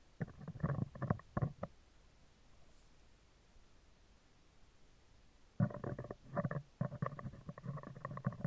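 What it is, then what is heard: Metal mesh microphone grille. Metal tweezers tap and scrape across the round, hollow, woven steel wire mesh grille of a microphone, working from the left and right. Bursts of close, low, rumbling scratches and taps fill the first second and a half, then a quiet pause, then denser scraping returns through the last three seconds.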